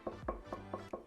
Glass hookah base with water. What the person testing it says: ça sonne pas creux comme les deux eaux et c'est pas par rapport à l'eau et moi je peux vous le dire c'est déjà beaucoup plus épais